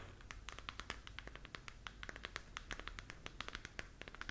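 A glowing, hollow plastic galaxy moon lamp is held in both hands while long nails scratch across its surface. The result is a quiet, rapid run of short, dry scratches and ticks with a bright, clicky edge that die away almost instantly, over a faint low hum.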